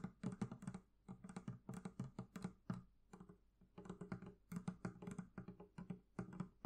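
Quick fingertip taps on the leather covering of a barrel chest make a steady run of soft, dull knocks in uneven bursts. Each tap has a low body around 180 Hz with a faint high click and dies away almost at once.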